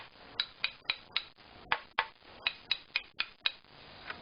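A wooden violin fingerboard segment, used in tuning experiments, is tapped so its tap tone can be compared against a reference tool. Eleven short, dry, bright taps with a pitch of about 900 Hz are heard, each dying away almost at once, followed by a fainter final tap.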